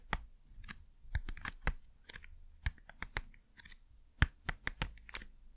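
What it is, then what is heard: Cardboard packaging tapping. Fast, crisp tapping on cardboard packaging makes a quick, irregular series of short dry taps. Each tap carries a low thump under a bright, papery click and dies away almost instantly.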